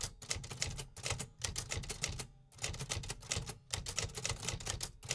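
Dense fingertip typing on the keys of a vintage 1950s metal typewriter produces a rapid run of sharp, bright mechanical typebar strikes over a low thump. Brief pauses break up the rhythm.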